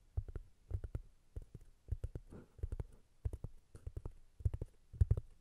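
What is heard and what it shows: Long nails tap and scratch the surface of a round, flat, solid cork disc resting on top of a Tascam recorder. Quick clusters of dull, low, boomy taps die away almost instantly, with a brief soft scratchy rustle between them.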